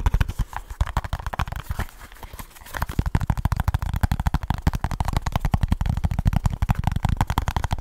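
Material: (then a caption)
Cardboard. A small kraft cardboard product box with a printed label and barcode is tapped and scratched with fingertips and short nails close to the mic. Fast, dense, dull thumping taps and scratchy rustles follow one another rapidly. There is a brief softer lull around two seconds before the quick tapping resumes.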